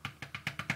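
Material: Paper.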